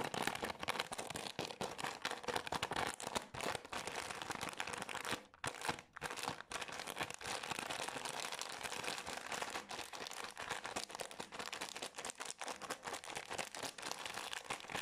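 Long nails scratch and crinkle a green Garnier cleansing wipes soft plastic pack, making a steady, dense, bright crackle of rustling plastic. The crinkling runs nearly nonstop for about fifteen seconds, with two brief quieter pauses around the five- and six-second marks before it resumes.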